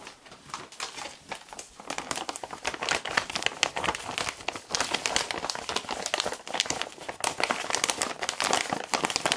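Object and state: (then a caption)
Plastic foil pouch crinkled. A large, seemingly full red and black creatine powder bag made of laminated plastic foil is held in both hands and squeezed with the fingertips to crinkle it. Dense, bright crackling and crinkling runs continuously with almost no low end, starting soft and growing louder after the first couple of seconds. Each crackle stops sharply with no ring.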